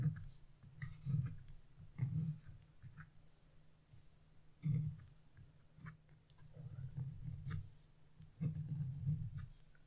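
A wood-handled carving chisel, held in fingers with blue nails, scratches leaf outlines into a black-coated scratch-off paper page. Soft, dull scratching strokes come in short bursts separated by brief pauses, with faint bright ticks as the blade catches the coating.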